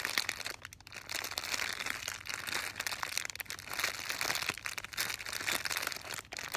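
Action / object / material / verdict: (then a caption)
scrape / thin soft plastic bag holding folded fabric / plastic film / none. A hand-sized, full, clear, thin, soft plastic bag holding a folded blue fabric item, likely slipper socks, is held in both hands and squeezed and crinkled with long painted nails and fingertips. The result is a steady, dense, bright crinkling with sharp little crackles and almost no low end.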